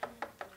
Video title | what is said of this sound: Installing a wired internal accordion microphone system | you can hear it if you just tap on these. You'll be able to hear if it's hitting anything.